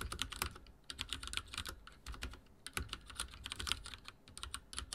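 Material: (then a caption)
Plastic. Rapid typing with the fingertips of both hands on a full-size backlit mechanical keyboard with dark plastic keycaps and linear switches, resting on a wooden desk. A steady stream of quick, bright plastic clacks, each with a short low thud, comes in uneven bursts and brief pauses, every keystroke ending almost instantly.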